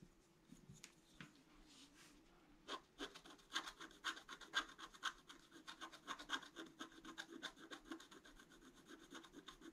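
A pointed wooden stick scratches a flat scratch-art sheet of black coating over colored paper. After a few soft, faint strokes, quick, dry, bright scratches come in a loose rhythm of about two per second, each short with no ring. A faint steady hum runs underneath throughout.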